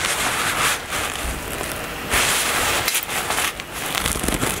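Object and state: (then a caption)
Fabric cosmetic bag. Long nails scratch and tap the fabric top of a black floral nylon toiletry bag. The sound is a steady, bright, crackling rustle with little low end, rising in brief louder swells.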